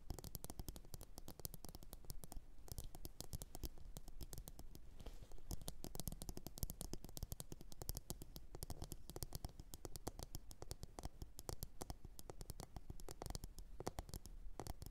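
Long orange nails tap and scratch the sides of a medium glossy blue ceramic bowl, hollow and empty, resting upside down on a fur mat. The result is a quiet, continuous stream of rapid, short clicks and scratchy scrapes with bright edges over a soft low rumble, each tap dying away almost instantly.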